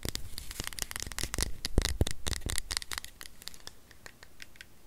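A small, solid white plastic USB power adapter is held in both hands and scratched and tapped with long nails. The result is a rapid, irregular run of dry, bright clicks and scratchy taps with no ring. The sound is busiest and loudest for the first three seconds, then thins out and grows softer.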